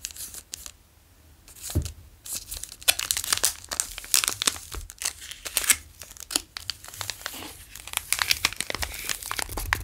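A full, long Daim chocolate bar in a plastic wrapper is held in one hand while the fingertips of the other crinkle and trace over it. Bright, crisp crinkles come in rapid bursts, with a brief quiet pause near the start before the rustling continues steadily.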